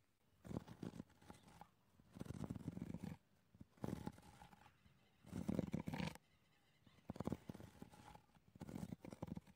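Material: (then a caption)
Wood. Fingertips in fingerless gloves tap and scratch a flat, old, weathered wooden board lying on grass, and the board sounds solid. The sound comes as soft, low, dull bursts of rapid tapping and rough scratching, each dying away almost at once, with quiet pauses between them.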